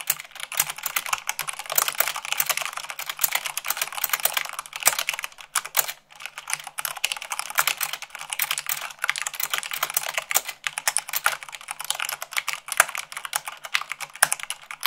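Fingertips with long acrylic nails type fast, at about 98 words per minute, on a full-size mechanical keyboard with white plastic keycaps on a black base. The result is a dense, steady stream of short, bright plastic clicks and clacks with almost no low end, broken by a brief lull around six seconds.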